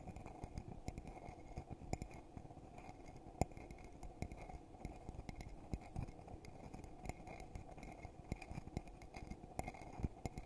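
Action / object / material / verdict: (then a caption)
tap / glass coffee mug / glass / none. A hollow red glittery glass coffee mug is held in both hands and tapped and scratched on the outside with fingertips and nails. The result is a quiet, steady run of quick dry clicks and scrapes with very little ring, over a low, dull body and faint hum-like tones near 700 Hz and 2.4 kHz.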